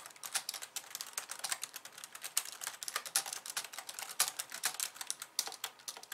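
Long painted nails type on a pink low-profile plastic keyboard with white keys, resting on a wooden desk. A rapid, steady stream of bright, crisp clicks and taps is heard, each one dry and quickly damped with almost no low end.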